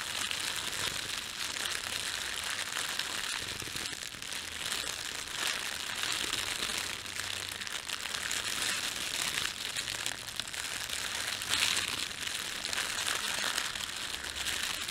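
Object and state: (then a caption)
Thin plastic bread bag. Fingertips rub and crumple a red-and-white printed thin plastic bakery bag, producing a steady, dense stream of bright, crisp crinkling across the whole clip. The sound sits almost entirely in the high range with almost no low end, keeping an even level with only small swells as the plastic is squeezed.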